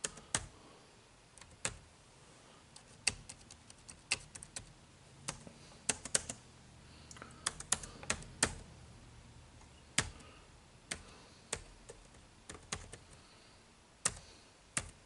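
Fingertips type on the dark plastic keys of an HP laptop keyboard, making about thirty sharp, bright clicks at an uneven pace. Each tap cuts off almost instantly over a quiet, faint background.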